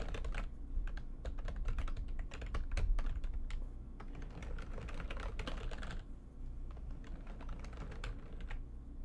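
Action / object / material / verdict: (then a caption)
tap / plastic computer keyboard / plastic / none. Fingertips and nails type fast on a backlit plastic computer keyboard, hands spread over the keys. Rapid, bright clicks and taps run steadily throughout over a constant low hum, easing slightly in density after about six seconds.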